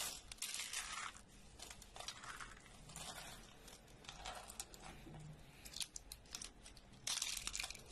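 Thin rolled curls of dry, solid, brittle orange bar soap are squeezed and crumbled in a bare hand over a pile of soap flakes. A dense, bright crackling and crunching comes in irregular bursts, with a louder burst of crumbling near the end.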